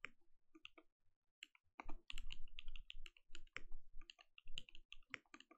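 Fingertips press keys continuously on a compact mechanical keyboard with plastic keycaps and a glowing case. Short, dry clacks pair a bright click with a deep low thud, coming in quick, uneven bursts with brief pauses. Each stroke stops almost instantly, with no ring.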